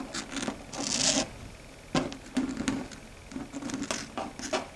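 Long red stiletto nails tap and scratch across a flat, dark grey, matte solid chalkboard. The result is a close, quiet run of sharp clicky taps mixed with bright, gritty scratching strokes, each dying away quickly.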